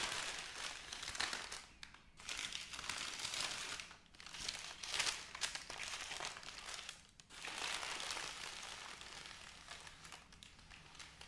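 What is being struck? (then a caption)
Crinkled wrapping paper. A folded bundle of white crinkly wrapping paper is pressed, smoothed and lifted by flat hands with long nails. It gives a steady, bright crinkling and rubbing rustle. The sound briefly quiets in short pauses between strokes.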